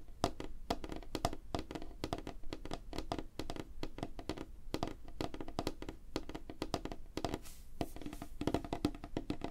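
Fingertips and nails of both hands, held close together, tap fast on a flat, solid, light-colored wooden tabletop. The result is a rapid, continuous stream of short, dry knocks with a low thud and almost no ring.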